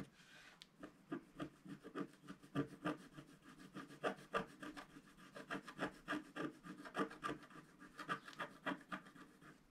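A wooden stylus scratches along the bottom edge of a flat, black-coated scratch-art paper sheet held in one hand. It makes a steady run of short, dry, rasping strokes, roughly three per second. Each stroke is brief, with a papery mid-range grain and little low end.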